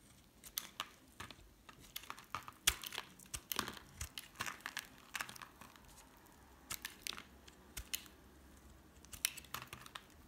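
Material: Soap.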